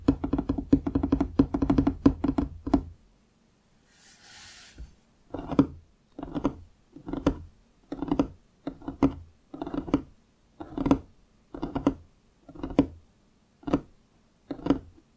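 Fingertips and short nails of both hands tap a large, solid, pine-look wooden desk surface on either side of a foam-covered microphone, which is not touched. A dense, rapid flurry of dull, woody knocks with a tone around 277 Hz runs for about three seconds, followed by a brief pause with a faint hiss. Then comes a steady series of short, spaced bursts of quick taps that die away almost instantly.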